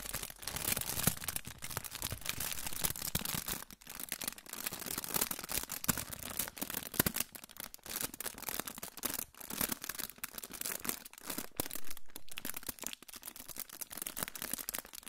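A hand-sized, crinkled silver aluminium foil pouch is held up and crinkled between the fingers. This produces a steady, dense crackle of sharp, bright rustles with brief pauses throughout, over a soft low-end rumble.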